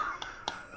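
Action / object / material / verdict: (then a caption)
tap / resin and stainless steel vape mod / resin, steel / solid. A resin vape mod with a stainless steel bar on top, its resin slightly squidgy but solidly bonded, is tapped to let the bond be heard. Two short, dry taps come through with little ring, the second louder.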